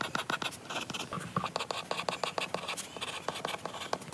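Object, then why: Stylus on glass tablet screen. A lilac stylus writes handwritten lines on a glass iPad screen, producing a rapid, uneven series of light taps and short scratches against the glass. The strokes are quiet, dry and bright, each dying away almost at once with very little low-end weight.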